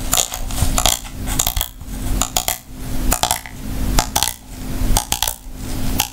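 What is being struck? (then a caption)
Hard plastic lint brush shell. Long nails tap the curved, hollow shell of a small oval, hard-shell plastic travel lint remover with a floral print, held in both hands. Quick, dry plastic clicks come in irregular bursts, each a bright tick with a hollow knock beneath it and almost no ring.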